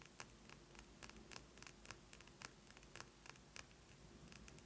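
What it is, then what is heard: Glass perfume bottle. A glass perfume bottle is tapped quickly with fingernails, giving about twenty sharp, glassy clicks that jangle with a high, bright ring. Each tap dies away almost instantly over a quiet, low background hum.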